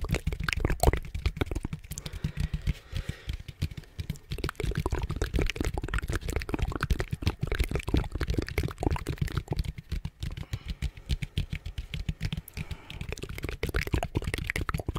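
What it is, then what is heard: Plastic pumpkin bucket. An orange hollow plastic pumpkin bucket, held at the side of a microphone, is tapped and lightly scratched with fingernails on its outer surface. Rapid, dense, dry taps with a deep, hollow body are heard, mixed with faint scratchy rustling. Each tap dies away almost instantly.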